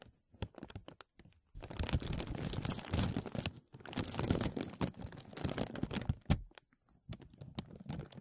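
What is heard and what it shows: A large, thin, clear plastic vacuum-seal bag with an embossed grid pattern is pulled over a mesh mic dome and rubbed and scratched by fingertips and nails. Sparse crackles give way to long, dense bursts of crinkling and scratching, with short pauses between them. The sound runs from a close, heavy low rumble up to bright, sharp crackles.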